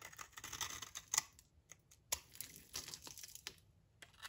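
A utility knife blade scrapes crumbs off a solid, dry brownish soap bar held in the hand, over a pile of shavings. Dry, crisp scraping and crackling comes in uneven bursts with short pauses, bright and thin with almost no low end. Each scrape stops dead with no ring.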